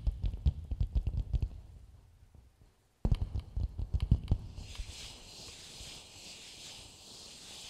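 Fingertips and long nails tap the outer dome of a medium, hollow, empty coconut shell bowl held upside down, making quick, deep, hollow thuds that fade into a short silence. A second burst of taps follows. The sound then turns into a steady, bright, hissing scratch of nails across the shell.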